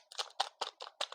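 A finished, iced Thai tea butter cookie, baked firm and slightly hard so it keeps longer as a gift, is knocked in a quick series of short, dry, clicky taps. The taps are bright with no low end and die away almost instantly. The sound confirms the cookie is hard and crisp-baked.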